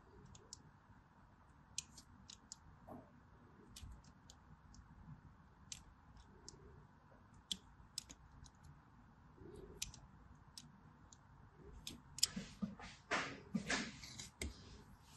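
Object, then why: Bar of soap and thin metal blade. A thin metal blade scores and scrapes a diagonal line across the face of a solid, hand-sized white bar soap with an embossed pattern, held in one hand, as small flakes fall off. Quiet, sharp, bright clicks and ticks come at irregular intervals over a faint low hiss. Near the end they thicken into a louder, denser run of crisp scraping.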